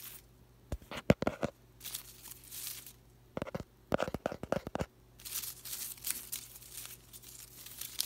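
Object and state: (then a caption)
Artificial plastic willow plant. An open hand sweeps through and rubs the thin plastic leaves of an artificial willow plant on bamboo-like stems, making them crinkle. Two bursts of sharp, dry crackling clicks alternate with softer, hissy rustling swishes over a faint low hum.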